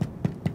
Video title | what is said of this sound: 麵包好不好用敲的就知道？《英國烘焙大賽》評審解答你烤餅乾、烤蛋糕、烤派的所有問題！｜名人專業問答｜Vogue Taiwan | it sounds like it's hollow hollow means it's got air inside it's got air inside it's more open if it's open it's a good bread